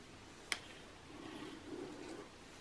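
Long nails tap once on the same page spread of an open glossy magazine lying flat, its thin coated paper giving a sharp, bright click that dies away almost instantly. A soft, faint rustle follows over a quiet hiss.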